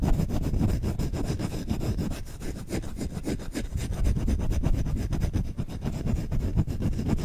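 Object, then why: Wooden spoon. Fingertips scratch and rub aggressively on the bowl of a solid wooden spoon, held close to the microphone. The result is a continuous run of fast, irregular scratchy strokes with a heavy, boomy low end and brief dry rasps between them.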